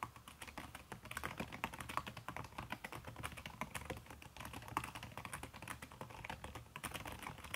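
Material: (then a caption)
Plastic, silicone. Fast fingertip typing with long red-painted nails on a backlit aluminium laptop keyboard whose plastic keys are covered by a red silicone skin. It makes a dense, continuous run of soft, short clicks and taps with a muffled low thump under brighter tickling key clatter. The keystrokes run together too quickly to count.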